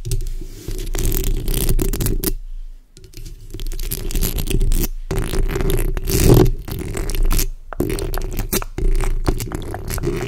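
The backs of long red nails scratch over the hollow metal mesh grille of a black microphone as hands move across the mesh. The result is a close, boomy, low-heavy rasping and rumbling scrape that runs almost continuously, broken by a few brief silent pauses.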